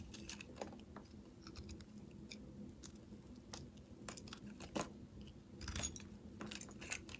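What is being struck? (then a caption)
Bar of soap scraped with a metal blade. A metal blade shaves and scrapes crunchy curls off the surface of a solid rectangular green soap bar with embossed lettering, held in the palm. Quiet, dry crackling scrapes and sharp ticks repeat over a low steady hum, with a few louder crunches near the end.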